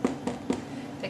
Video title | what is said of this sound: How to Make Bread from Sourdough | when you tap them they kind of sound hollow